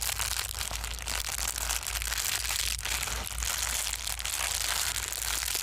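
A small folded sheet of clear plastic bubble wrap is held in both hands and squeezed and crumpled with the fingertips, popping bubbles as it crinkles. The sound is a continuous, bright, crackling rustle with scattered sharp pops over a steady low hum, staying at an even level throughout.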